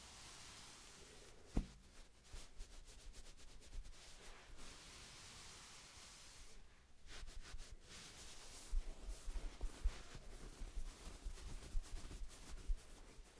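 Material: Nothing is struck.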